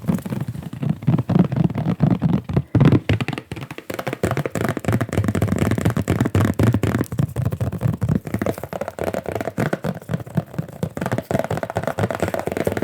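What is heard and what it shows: Fingers tap and knock rapidly on one of several gesso-primed stretched art canvases of different sizes, linen/cotton or cotton, on wooden frames. The result is a dense run of soft, hollow, low thuds around 160 Hz that die away almost at once, with little high-end content.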